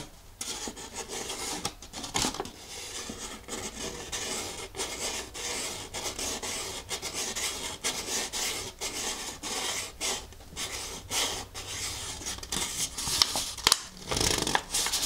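A thumbnail scratches and rubs a thin folded paper instruction leaflet held in one hand. A steady series of dry, bright rasping strokes is heard, mostly hiss-like high frequencies with little low end. A few sharper scrapes stand out near the end.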